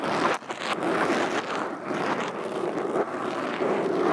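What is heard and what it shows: Metal fingerpicks worn on all fingers tap and scratch across a black foam windscreen over a microphone. The result is a steady, dense, scratchy rustle centered in the mids, with a brief dip in loudness near the start before the rough scraping carries on.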